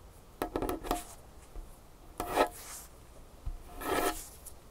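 Long nails tap and scratch on a large solid dark wood tabletop, making a cluster of quick, dry clicks with a bright, raspy edge. Hands then rub across the surface in longer, breathy swishes spread from the mids up into the high end, separated by quiet pauses.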